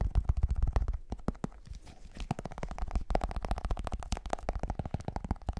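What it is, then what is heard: Plastic powder tub. Fingers tap and scratch the white plastic lid and side of a plastic G Fuel powder tub held close to the mic. The result is a rapid, dense run of short, dull, bass-heavy knocks with very little ring, broken by brief softer scratchy stretches.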